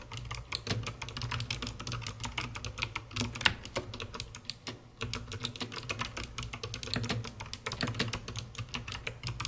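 Long red-painted nails and fingertips type continuously on a COX CK900 S2 full-size mechanical keyboard with white plastic keycaps, full purple lighting and a dark, hollow plastic case. A rapid, steady stream of clacky keystrokes mixes bright, sharp clicks with a low, hollow thump beneath them. Each stroke dies away almost instantly.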